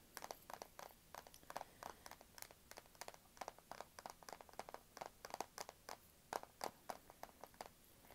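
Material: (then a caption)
Plastic. Long pink nails tap fast on the matte black plastic back of a small, thin, solid Kindle e-reader held upright. The result is a quick, uneven stream of short, dry, clicky taps with a hollow midrange tone and almost no ring, heard quietly in a small indoor space.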